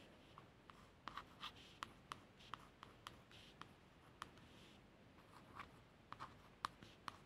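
A long fingernail traces letters across the blue laminated cardboard cover of a solid hardback book, working down to the lower edge. Quiet, light scratching strokes are heard, broken by short, dry ticks with a bright tone near 1 kHz and high hiss.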